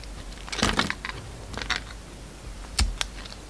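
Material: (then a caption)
Soap. A metal utility knife blade cuts and shaves slices from a solid lilac soap bar with a glittery silver coating, held in hand. Crisp, bright scraping and crackling bursts come in short clusters over a low background hum, with the loudest strokes near the start and again near the end.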